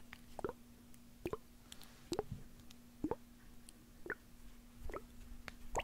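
A small white plastic eye drop bottle with liquid inside is tapped with fingernails and squeezed. It makes short, quiet plopping clicks, often in quick pairs, spaced about a second apart over a faint steady low hum.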